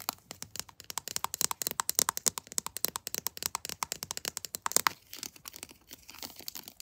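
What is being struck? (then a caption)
Plastic squeeze tube of lotion. Long blue-painted nails tap and scratch a pink floral "Sweet Pea" squeeze tube of body lotion, hollow-sounding and apparently filled, made of textured plastic. The result is a rapid, steady run of about fifty sharp, dry, bright clicks with almost no low end and no ring, loudest in the first five seconds, then softer, scratchier taps to the end.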